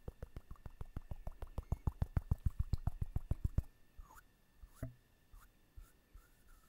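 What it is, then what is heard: Ceramic figurine tapped with fingernails. A small ceramic owl figurine with a textured surface is held in one hand and tapped with the long nails of the other hand. A rapid run of sharp, dry clicking taps lasts about three and a half seconds, then a few sparse, softer taps follow. Each tap stops at once with no ring.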